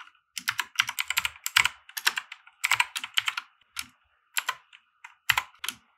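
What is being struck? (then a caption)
Plastic mechanical keyboard. Both hands type with their fingertips on a compact RGB-backlit mechanical keyboard with white plastic keycaps resting on a grey felt desk mat. Rapid, bright key-press clicks and clacks come in irregular bursts separated by brief pauses, each stroke short and dry with almost no ring.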